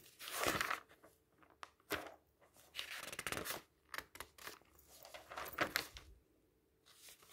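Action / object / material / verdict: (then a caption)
scrape / thin-paper magazine / paper / none. A hand flips the pages of a large open magazine made of thin paper. The paper rustles and flaps in bright, airy swishes and crisp crinkles, with quiet pauses between the turns.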